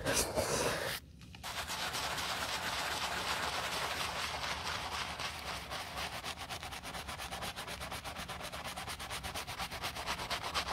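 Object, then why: Leather sneaker scrubbed with bristle brush. A wooden-handled bristle brush with light foam scrubs the heel counter of a white leather low-top sneaker. A brief brushing burst gives way to a short pause near one second, then steady, rapid back-and-forth strokes with a bright, hissy rasp. The strokes continue at an even level to the end.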